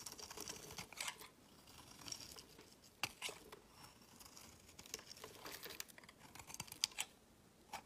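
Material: Soap.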